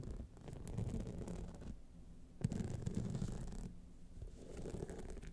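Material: Rhinestone.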